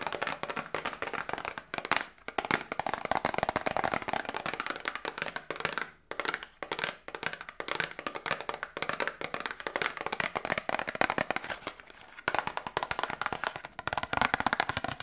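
Long nails tap rapidly and close up on a small, hollow printed cardboard Grippostad medicine box that still holds its contents. The taps are short, dry and clicky, with a mid-range papery tone and a bright edge. They come in dense bursts separated by brief pauses.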